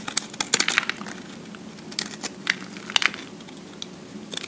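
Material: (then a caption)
Soap. A utility-knife blade scrapes the top surface of a solid recycled soap cube held in the hand, shaving off fine soap flakes. Short, bright, crackly scrapes come in irregular bursts against a faint background hiss, each cutting off instantly with no ring.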